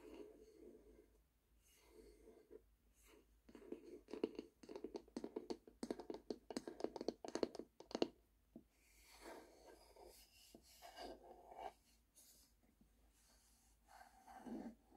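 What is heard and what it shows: Long painted nails tap and scratch the surface of a flat rectangular bamboo lid or board held in the hands. Quiet scratching gives way to bursts of quick, uneven taps with a dull, woody mid tone in the middle of the clip, then softer brushing scratches with a brighter hiss return near the end.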